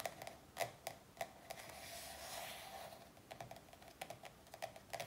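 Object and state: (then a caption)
Paperback workbook. Long nails tap quickly on the glossy front cover of a paperback workbook resting on a wooden table, making about 18 short, dry clicks with a hollow midrange tone near 690 Hz and bright edges. The taps come in uneven bursts, with a softer, continuous hiss filling the middle of the clip before the tapping resumes.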